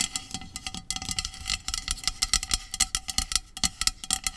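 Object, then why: Aluminum aerosol can. Long acrylic nails tap-scratch along a medium, hollow aluminum dry shampoo aerosol spray can lying on a blanket. A rapid, uneven run of bright, crisp clicks and scratchy strokes is heard over a faint hollow metallic ring, and each tap dies away almost at once.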